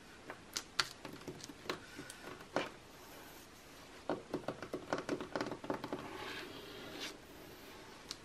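Long nails and fingertips tap and scratch the same page spread of an open glossy magazine lying flat, its thin coated paper giving off quiet, crisp, dry clicks with no ring. Irregular bursts of sharp taps are mixed with bright, papery scratching that swells briefly before a few final taps.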